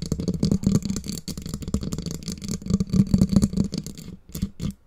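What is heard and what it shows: Long nails scratch and tap the black foam windscreen on a microphone, and fingers briefly touch the black mic body. The result is a dense, bassy run of muffled scratching and soft thumps, with a faint bright hiss above. It thins out to a few quiet taps at the end.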